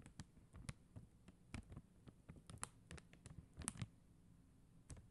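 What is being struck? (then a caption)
Plastic gem sticker sheet tapped with acrylic nails. Long acrylic nail tips tap quickly on a flat sheet of faceted plastic rhinestone gem stickers, producing around seventeen short, dry clicks with bright tops and almost no ring. The taps are quiet and uneven over a steady low hum.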